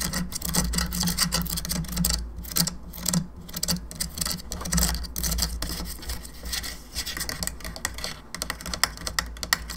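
Long nails tap and scratch the sides and face of a hollow plastic skull candelabra lamp. Dense, irregular clicks mix with bright, raspy scraping over a steady low hum, and each tap dies away almost instantly.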